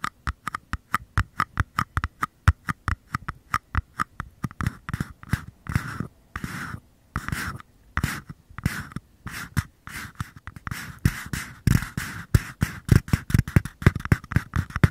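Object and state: Small paper cup tapping.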